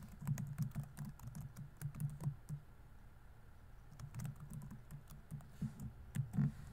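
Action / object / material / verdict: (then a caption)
tap / plastic laptop keyboard keys / plastic / none. Fingertips rapidly tap the plastic keys of a laptop keyboard set in a grey laptop body while typing. The result is a quick run of soft, muted, low-pitched clicks that pauses briefly midway, then resumes with a few louder taps near the end.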